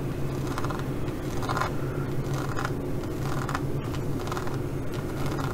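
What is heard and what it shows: Long nails scratch quickly across the pyramid-shaped studs of a green faux leather zippered pouch. Short raspy scratching bursts repeat over a steady low hum.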